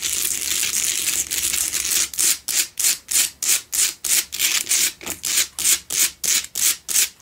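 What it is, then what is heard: Himalayan salt candle holder being scratched. Long nails scratch aggressively across the front face of a solid pink Himalayan salt double candle holder. A continuous bright, gritty scraping runs for about two seconds, then breaks into quick, rhythmic strokes, roughly three per second. Each stroke is a short, hissy rasp.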